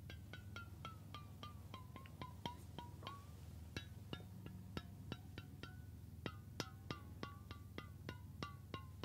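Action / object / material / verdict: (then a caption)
tap / stainless steel water bottle with steel cap / stainless steel / none. A hollow stainless steel water bottle with a steel cap is held in the hands and tapped with the fingertips and nails, giving about thirty quick, bright metallic taps. Each tap leaves a short ring that steps down in pitch, then climbs again, over a steady low hum.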